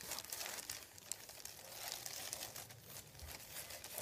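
Fingertips scratch and rub a thin, folded sheet of white printed paper lying on a wooden table. The result is a quiet, steady, bright crinkling and scratching texture with irregular papery flicks and rustles. There is almost no low end.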